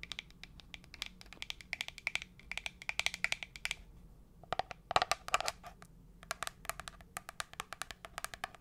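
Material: Plastic.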